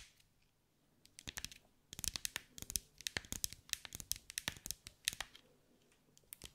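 Long white acrylic nails tap and scratch over the small green mirrored glass mosaic tiles of a hand-sized ball held in the hands. After a near-silent first second, quick, bright, clicky taps come in uneven bursts with a faint scratchy hiss between them. Each tap stops dead with no ring.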